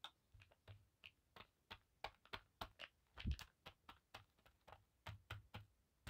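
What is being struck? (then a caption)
Cotton bandana on a table. Long black acrylic nails and fingertips tap and scratch across a thin navy blue paisley cotton bandana lying flat on a table. The result is a quick, uneven run of short, dry clicks and soft scuffs with a low, muffled thud under each tap and a bright, crisp edge on the nail strikes. There is no ring after each touch, and one slightly heavier, longer scratch lands just past the three-second mark.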